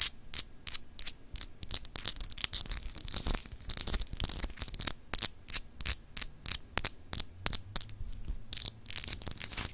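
Long acrylic nails scratch across a palm-sized solid clear glass globe paperweight with frosted continents, making a rapid run of short, dry, bright scratches with no ring. A faint low hum sits underneath.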